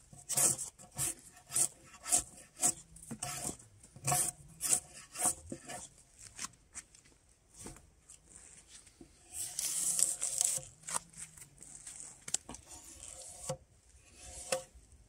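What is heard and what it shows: Gloved hands pull a steel draw knife along a solid spruce log with patches of bark left on it, resting on a sawbuck, scraping off the bark. Bright, raspy scraping strokes repeat at an uneven pace, with a longer, louder rasp near the middle of the clip. Each stroke ends quickly with little ring.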